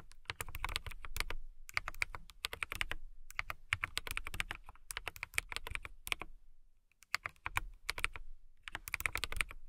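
Fingertips with long nails type on a clear acrylic mechanical keyboard with RGB-lit clear keycaps, producing quick bursts of crisp, clacky keystrokes with a bright click and a low thock. The typing comes in several runs separated by short pauses, with the keys dying away almost instantly.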